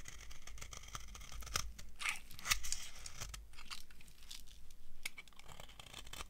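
An old, solid, translucent brown bar of dry soap is shaved with a metal knife, peeling off flaky curls. Crisp, dry scraping and crunching strokes follow one another, with bright crackling bursts over a low, steady background rumble.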